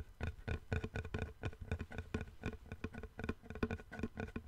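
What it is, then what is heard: Wooden plank. A long, thin, flat, light-colored solid wooden board held horizontally in both hands is tapped with fingertips and nails along its edge and surface. The result is a quick, irregular run of soft, dull knocks with a low, woody tone. Each tap dies almost instantly.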